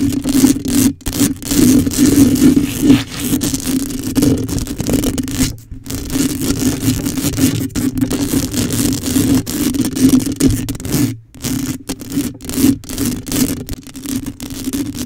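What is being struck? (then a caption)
Metal mesh microphone grille. Long acrylic nails scratch quickly over the hollow, rounded metal mesh head of a black microphone. The result is a dense, continuous scraping rustle with a steady low hum-like tone around 290 Hz underneath, broken by a few brief gaps.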